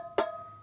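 A single knock on the main bucket of a pellet grill grease box, an 18 gauge heavy-duty steel bucket weighing about 2 to 3 pounds. It gives a short, solid clank with a mid-pitched tone that dies away quickly. It sounds heavy rather than tinny.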